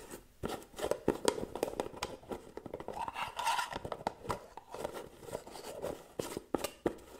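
Long painted nails rapidly tap and scratch the gold metal screw lid and sides of a small, round, white cosmetic jar, likely full, held in one hand. The result is a quick, uneven run of sharp clicks and light scraping, with brief metallic ringing and a midrange tone.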